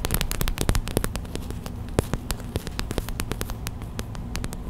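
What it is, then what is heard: Plastic gel bead hot/cold pack. Long white acrylic nails tap rapidly on a small clear plastic hot/cold pack filled with white gel beads, then the hands squeeze it. Quick, sharp clicks with a bright edge sit over a steady low hum, with a faint crackle of the beads shifting inside.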